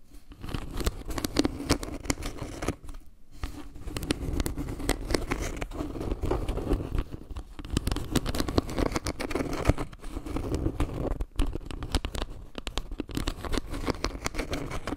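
Long nails tap and scratch across a round, solid wooden log-slice trivet held close to the mic, running over the wood slices and carved leaves. The result is a dense, irregular stream of dry, soft taps and rasping scratches, mostly low and woody with little brightness, and with very short decay. Brief pauses fall around 3 and 11 seconds.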